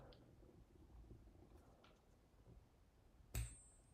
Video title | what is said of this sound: Join Surfer as He Celebrates 500 Subscribers: News, Silver Price Action, Stacking. | silver has a distinct vibration and resonance that actually sounds a lot better than regular metal